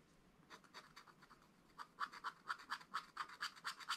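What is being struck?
Wax-coated scratch-art paper scratched with a wooden stylus.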